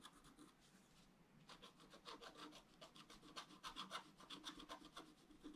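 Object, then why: Black-coated scratch art paper scratched with a wooden stylus. A wooden stylus scratches a flat, black-coated scratch art paper card, held down by the other hand, while etching the basin of the drawing. Quiet, dry, raspy rubbing strokes come in quick, irregular bursts with a bright, papery hiss and almost no low end. A faint, steady scratching runs before the strokes grow denser and louder after the first second and a half.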